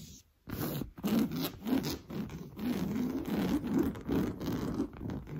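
Blue-painted fingernails scratch quickly across an orange coarse-weave fabric sofa cushion. Rapid back-and-forth strokes make a dry, rasping scrape with a low, muffled body, coming in rough bursts separated by brief pauses.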